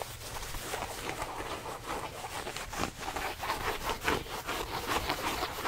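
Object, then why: Denim jeans fabric. Fingertips rub and scratch a pair of soft blue denim jeans held beside the microphone. A continuous, rough, brushy scraping plays in loosely repeating strokes, with a bright hiss above a mid-range rasp. The strokes rise and fall unevenly over the whole clip.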